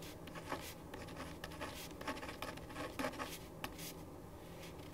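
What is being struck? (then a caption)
Ballpoint pen on paper sheet over wooden desk. A ballpoint pen writes on a thin printed paper sheet lying flat on a wooden desk. Soft, scratchy strokes come in short, bright bursts over a quiet, steady background. The writing continues throughout at a low level.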